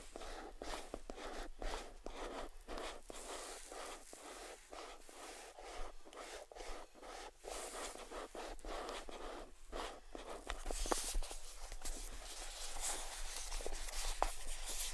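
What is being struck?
Small closed cardboard gift box.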